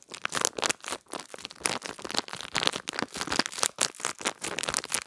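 A small clear plastic bag with a cardboard header and a pink gel-bead pad inside is crinkled and rubbed between fingertips and long nails. The result is a steady run of bright, crackly crinkling bursts with sharp, short snaps and almost no low end.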